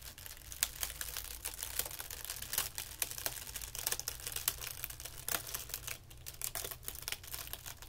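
A thin, white, crinkled sheet of tissue paper is held between the fingertips of both hands and stretched and pulled apart over carpet. It makes a dense run of sharp, bright crinkles and crackles over a faint steady low hum. The crackles come in quick bursts throughout, with no ring after each one.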